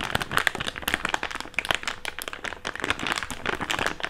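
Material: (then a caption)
Plastic. An empty, hand-sized, thick clear plastic bag is stretched and crinkled with the fingertips of both hands. It makes a dense, continuous stream of sharp, bright crackles and snaps with very little low end. Each crackle cuts off almost at once.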